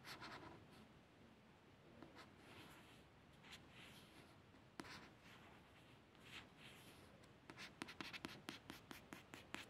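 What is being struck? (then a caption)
Paperback book cover, glossy card. A fingertip and a long nail trace over the printed images and barcode label on the solid, glossy card back cover of a paperback book. The sound is a quiet, bright, continuous light scratching that swells and fades, then turns into a quick run of short, sharp nail ticks near the end.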